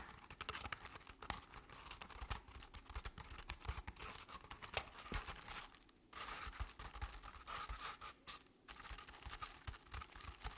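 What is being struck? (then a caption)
Crepe-paper-covered decorative pumpkin. Long, decorated acrylic nails on both hands scratch a medium-sized, round decorative jack-o'-lantern covered in crinkled orange crepe paper with black paper face cut-outs. The result is a soft, steady stream of dry, papery rasps and crinkles with bright edges and quick, dense strokes. There is a brief lull near the six-second mark.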